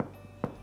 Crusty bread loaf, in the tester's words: ça sonne creux il est prêt